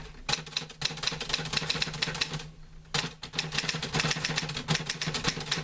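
Fingertips type on the keys of a green-grey metal portable manual typewriter with paper loaded. Rapid, bright, clattering key strikes run steadily, pausing briefly just before the 3-second mark, then resuming. A low steady hum sits beneath the typing.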